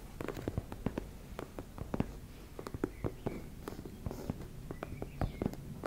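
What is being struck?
Embossed fabric makeup bag.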